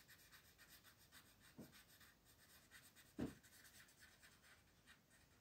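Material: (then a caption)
Paper. A green wooden colored pencil is rubbed back and forth across a flat paper coloring page on a table to shade it, with the other hand resting on the page. The quiet, steady, rhythmic scratching of the strokes runs throughout. Two brief, low, soft thumps stand out near the middle, at about 1.6 and 3.2 seconds.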